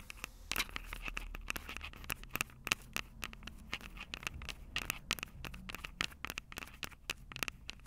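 Long purple acrylic nails scratch and tap the two metal microphone capsules of a small black plastic Tascam DR-05 handheld recorder held upright. Quick, dry, bright clicks and scratchy scrapes follow one another in an irregular, steady run, with a ringing tone near 2.7 kHz and almost no decay after each tap.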